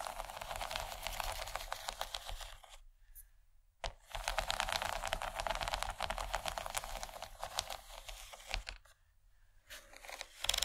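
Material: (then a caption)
Plastic. Long nails tap quickly on the textured surface of a large, empty yellow plastic tray, making a dense, bright, crackly clatter. The tapping comes in bursts with two brief pauses, then picks up again at the end.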